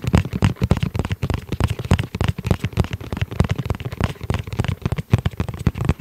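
Fingertips tap rapidly and irregularly on the flat faces of a tablet-sized, hollow, dark gray fabric-covered hard-shell EVA zip pouch. Each tap is a short, dull, hollow thump centered low, around 113 Hz, with almost no ring and very little bright content.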